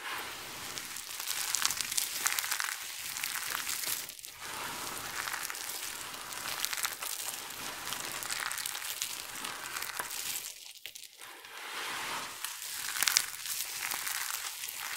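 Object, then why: Heap of soap chips and shavings. Hands with long nails scoop, press and rub a large heap of small dry multicolored carved soap chips and shavings, then squeeze handfuls and let the chips fall. A steady, bright crunching and crumbling rustle continues with no low end, with brief quieter gaps and a sharper burst near the end.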